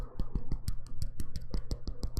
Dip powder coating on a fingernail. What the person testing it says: once you hear those Taps you know that you're good to go